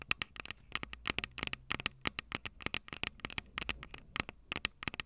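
Long purple nails tap and scratch the two metal mic capsule heads of a small plastic-bodied Tascam DR-05 handheld recorder. A quick, irregular run of sharp, dry clicks and scrapes sounds bright and close, each hit stopping instantly with no ring over a faint low hum.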